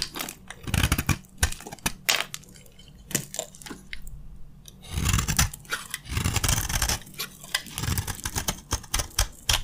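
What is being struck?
Bar of soap.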